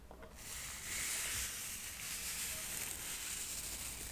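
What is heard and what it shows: A small, solid stack of square cork coasters is held up and brushed with a soft paintbrush. After a brief quiet start, a steady, bright, hissy brushing sound begins and continues evenly to the end, with little low rumble.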